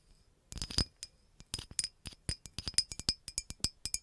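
Long acrylic nails tap the neck and body of a green glass bottle with a red cap. About 21 quick, bright clinks come in an uneven rhythm, each with a short high glassy ring that dies away almost at once.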